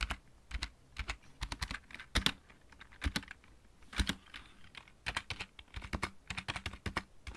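Fingertips of both hands type on a full-size backlit mechanical keyboard with plastic keycaps. The result is quick bursts of sharp, bright clicks with a low thud under each press and almost no ring, separated by short pauses.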